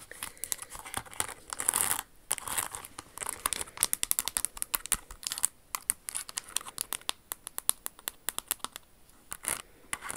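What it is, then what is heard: Crystal-studded high-heel shoe being scratched and tapped. Very long acrylic nails scratch and tap along a red Jimmy Choo stiletto pump covered in small glitter-like crystals, moving over its fabric flower ornament on the pointed toe while the hollow, empty shoe with its smooth red lining is held up close in the hands. Bright, crinkly scratching swells in bursts between rapid, sharp clicking taps that stop dead with no ring, sounding quiet and close.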